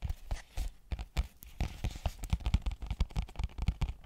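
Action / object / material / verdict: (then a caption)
tap / cardboard box with plastic window / cardboard / none. Long painted nails tap and scratch a small, hollow, flat cardboard retail box with a clear plastic window showing a marble phone case. The result is a quick, irregular run of soft, dull, low thuds with faint scratchy rustling between them, each tap dying away almost at once.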